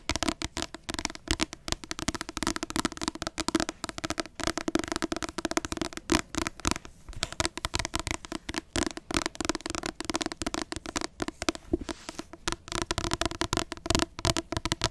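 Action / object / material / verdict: tap / paperback book with glossy card cover / card / none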